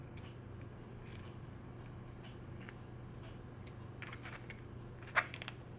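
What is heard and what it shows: An empty, hollow brown hen's eggshell is held in both hands over a small cup while long nails and fingertips crack and crush the thin shell into pieces. Faint, scattered crackles sit over a steady low hum, then one sharp, bright crack near the end is followed by a few smaller crunches.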